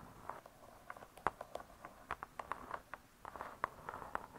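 Long fingernails tap on the cardboard-covered cover of a spiral-bound hardcover cookbook, making a quiet, irregular series of short, dry, hollow clicks. The taps center around 800 Hz to 1 kHz, with little low end, and each dies away almost instantly.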